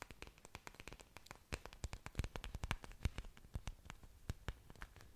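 Long dark nails scratch and tap the surfaces of an orchid plant's several large, thick, waxy green leaves, with exposed aerial roots, held in front of the microphone. A rapid, irregular stream of short, dry clicks and taps with a soft scratchy texture sounds close and low-level. Each tap dies away almost instantly, with louder accents scattered throughout.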